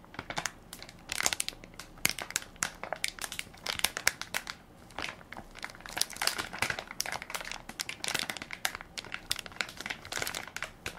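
A full soft plastic-film baby wipes pack with a plastic lid, held in one hand, is crinkled and scratched across its film top by fingertips and nails. Dense, bright crinkling comes in quick bursts with short pauses, mostly high with almost no low end.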